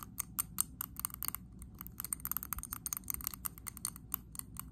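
Long acrylic nails tap and scratch quickly on the sides and rim of a medium glass candle jar filled with green wax. The result is a dense run of sharp, bright clicky taps with very short ring, mixed with scratchy scraping over a low background rumble.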